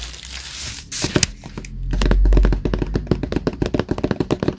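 Fingertips tap the black front cover of a closed, solid Death Note hardcover notebook lying flat on a desk mat. A soft, bright rustle and a low, swelling thump lead into a quick, uneven run of short, dull taps with a deep, woody body and almost no ring.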